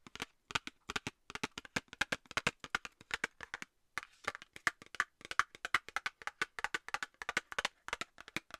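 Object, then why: Small cardboard box tapped with fingernails. A small, hollow, rectangular Nivea cardboard cosmetics box, held in one hand close to the microphone, is tapped rapidly with long nails. The result is a fast, uneven stream of dry, hollow clicks centred around 2 kHz with bright highs, almost no low end and no ring, broken by a brief pause near the middle.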